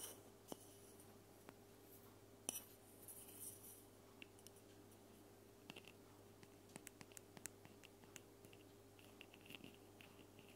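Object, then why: Plastic spray bottle. A plastic spray bottle is tapped in a quiet setting, giving sharp, bright clicks that die away almost instantly over a low steady hum. The taps come irregularly, with a soft scratchy patch early on and denser clusters of light ticks in the second half.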